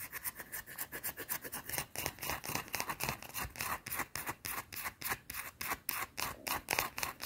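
Long teal-painted nails scratch fast across a small, round, solid white bar of soap held in the palm. The result is a rapid, slightly uneven run of short, crisp, bright scraping strokes, about three or four per second, each ending quickly with little ring.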